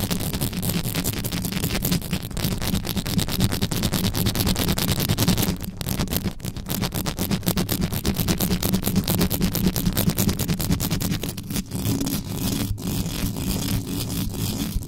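Extra-long yellow nails on both hands scratch fast over the hollow metal mesh head of a black condenser microphone. The result is a dense, continuous rasping scrape with a heavy, boomy low rumble and many rapid ticks. It runs steadily for the whole clip, with only brief dips in loudness.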